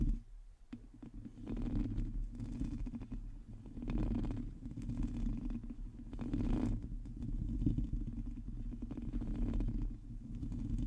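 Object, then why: Metal mesh microphone grille. Long fingernails of both hands scratch the hollow metal mesh grille of a black microphone, producing a dense, low rumbling scrape with rapid gritty ticks layered over a steady bass drone. The sound swells and eases in waves, with no clear gaps between strokes.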